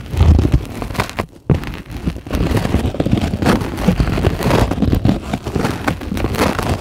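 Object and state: Polyethylene foam sheet.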